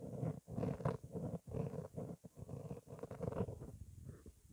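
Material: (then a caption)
Foam. Long nails and fingertips scratch and rub a round, soft black foam windscreen on a microphone. The result is a dense, muffled, low scratchy rumble in bursts separated by brief quiet gaps, fading toward the end.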